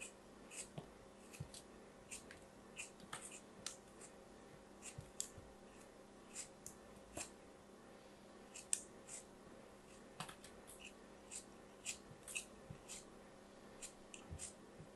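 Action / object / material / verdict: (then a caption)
scrape / kinetic sand block cut with a craft knife / kinetic sand / none. A craft knife blade slices and scrapes a small, solid yellow piece of kinetic sand held in the fingers, while plastic molds lie nearby untouched. About 22 short, crisp, bright scratching cuts are heard as crumbly bits fall off, over a faint steady low hum.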